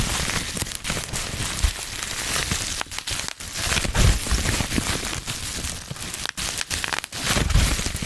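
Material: Plastic.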